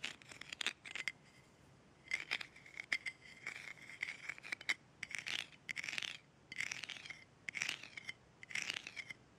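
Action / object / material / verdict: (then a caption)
scrape / glass jar with metal screw lid / metal / none. Long red-painted nails scratch and tap the top and rim of an embossed gold metal screw lid on a small glass jar held in the hands. Bursts of bright, scratchy friction mix with quick, light taps that carry a faint metallic ring around 2.1 kHz, separated by short quiet gaps. The sound stays soft and trebly, with almost no low end.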